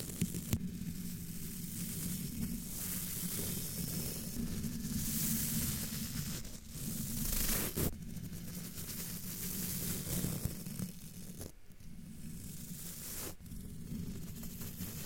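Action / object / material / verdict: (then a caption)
scrape / metal wire-mesh microphone grille / metal mesh / none. A thin makeup-style brush, held by a hand with long dark nails, rubs and sweeps across a hollow, roughly fist-sized domed black metal wire-mesh microphone grille. It makes a steady, scratchy, sizzling rustle over a heavy low rumble, with bright hissy swells and a few sharp clicks as the bristles drag across the mesh.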